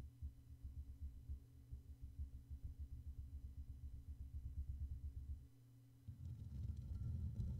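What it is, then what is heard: Metal mesh microphone grille, tapped and brushed. Fingertips and short nails of both hands tap and brush directly on the rounded black metal mesh grille of a Blue Yeti USB microphone, with its hollow capsule housing and no pop filter. The result is a fast, uneven stream of deep, muffled thumps and rumbling, almost entirely low in pitch. It dips into a brief, quieter hum near the end, then resumes louder with a faint bright scratchy edge.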